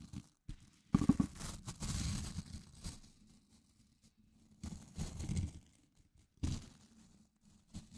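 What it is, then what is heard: Plastic scrub brush with nylon bristles. Fingertips scratch and flick the white nylon bristles of a small blue plastic scrub brush. The result is quiet, dry, crackly rustling in short bursts with soft scratchy flicks and brief pauses between them, heavy in the low end with little brightness.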